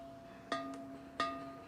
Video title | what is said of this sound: Pottery Mfg. Infomercial | if you hear a high-pitched ring you know that it's structurally sound and it doesn't have a crack